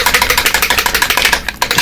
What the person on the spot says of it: as you can hear it's got agitator ball on it